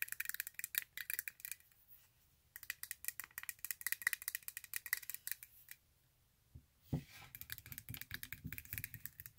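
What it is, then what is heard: Glitter-covered high-heel sandal. A silver glitter-covered stiletto sandal with a thin heel and straps is held in hand while long acrylic nails tap and scratch quickly across the glittery straps and heel. The result is bursts of fast, crisp, bright clicking and scratchy rattling with very short decay. These bursts are separated by brief quiet pauses, and a low thud comes near the end.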